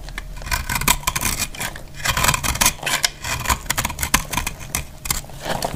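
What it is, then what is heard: Dry soap bar being scraped. A utility knife blade scrapes and cuts crumbly shavings from a solid bar of dry, brown speckled soap held in the hand. The result is a rapid run of dry, crisp scrapes and crackles with a bright, gritty edge over a faint low hum.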